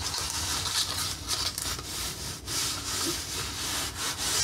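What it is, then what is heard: Wooden accordion peg rack. A red painted wooden accordion peg rack with knob pegs is collapsed and expanded by hand. Its slats rub and scrape together in a steady, bright, raspy friction with some nail taps.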